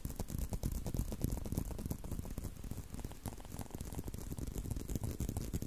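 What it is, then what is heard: Leather belt. A tan leather belt is held in a loop close to the mic while thumbs and fingertips tap and scratch its solid leather strap. The result is a quick, uneven run of soft, dull, low thumps mixed with faint dry scratching, with each tap dying away almost instantly.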